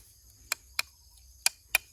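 Pieces of wood charcoal from a first burn are knocked together, giving four short, bright, glassy clinks with almost no ring and no low end. The clear ringing tone marks the charcoal as properly carbonized.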